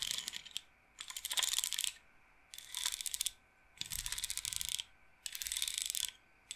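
Fingertips and nails roll the wooden beads on a wooden bead roller massager's frame. Five quick bursts of dense, bright clicking and rattling are separated by short pauses, with a tonal edge near 3.4 kHz and almost no low end.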